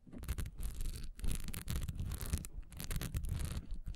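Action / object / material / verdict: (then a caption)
scrape / textured wax pillar candle / wax / none. Long nails scratch fast across a solid, honeycomb-textured wax pillar candle with a diamond pattern, lying on its side on a dark towel. Quick bursts of dry, raspy scraping carry a strong low rumble under a bright hiss, rising and falling with short pauses between strokes.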